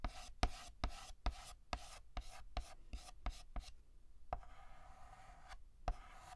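Fingertips hold a stick of white chalk and write letters on a flat, solid black chalkboard. Quick scratching strokes and sharp taps repeat at an uneven pace, with a steady tonal rasp. The strokes pause and then resume near the end.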